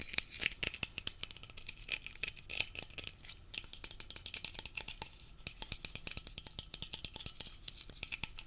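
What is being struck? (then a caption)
Metal aerosol can with plastic cap. A Blue Coral Dri-Clean aerosol spray can, a mid-sized hollow metal can with a ridged blue plastic scrub cap, is held in both hands and rapidly tapped and scratched with the fingertips and short nails, mostly on the plastic cap. Dense, fast clicks and scratchy rattles run throughout with no ring. The sound is thin, high and bright.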